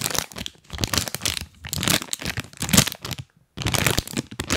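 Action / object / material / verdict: tap / plastic snack bag / plastic / none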